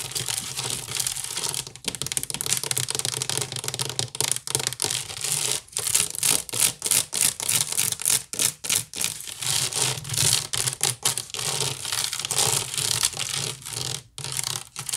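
Long nails scratch quickly across the sides and top rim of a hollow woven wicker basket turned upside down. The result is a dense, bright, raspy scratching that comes in rapid bursts broken by brief silent gaps.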